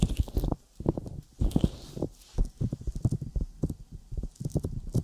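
Fingertips tap and pull away from a silicone binaural microphone ear coated with sticky petroleum jelly, making rapid, irregular sticky taps. The taps are muffled, low thumps with very short decay and occasional faint high crackle, with brief quiet pauses between bursts.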